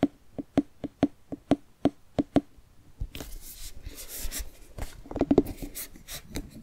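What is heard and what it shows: Fingertips and nails tap the rind of a medium orange, hollowed-out jack-o'-lantern pumpkin carved with triangle eyes and a smile, giving about ten short, evenly spaced hollow knocks with a low tone. The tapping then gives way to scratchy, brushing nail sounds on the rind, with a few more clustered taps near the end.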